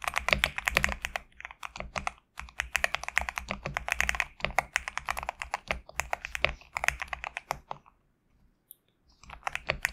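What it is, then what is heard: Mechanical keyboard with PBT plastic keycaps. Fingertips type steadily on a compact GMK67 mechanical keyboard with PBT plastic keycaps, resting on a desk mat. Fast, bright, clacky keystrokes run in dense bursts, with a brief gap near 2 seconds and a longer near-silent pause around 8 to 9 seconds before typing resumes.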